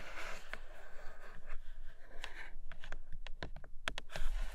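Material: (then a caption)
Cardboard. Long acrylic nails tap quickly on a flat grey cardboard Nomad box with a clear plastic window. A soft, scratchy rustle gives way to a run of quick, crisp taps with short decays. The sound is quiet overall, with a low, dull undertone.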